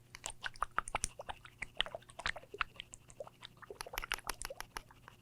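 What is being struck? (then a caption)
Bottle of beard grooming product. A new bottle of beard grooming product is shaken close to a microphone so its contents can be heard, a product said to make a beard softer. The sound is a rapid run of short, dry clicks and rattles, many of them bright and high, with a faint low hum underneath. The clicks come in irregular bursts across about five seconds.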